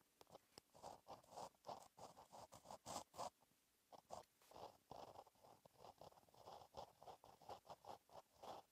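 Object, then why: Gel pen on a paper notebook page. A gel pen tip scratches across a flat, black lined notebook page while writing cursive. The result is a quiet run of short, dry scratching strokes centered in the mids with faint bright edges, coming in bursts separated by brief pauses.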